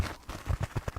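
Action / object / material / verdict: tap / kitchen scrubbing sponge scourer / sponge / none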